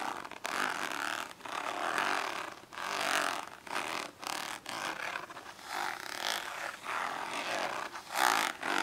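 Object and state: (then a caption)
Plastic index card case, scratched. Long acrylic nails scratch and tap across the top of a hollow, orange, ribbed plastic index card case lying flat. The result is a series of dry, raspy scratching bursts with light clicks, centered in the midrange with a bright edge, no low end and almost no ring after each stroke.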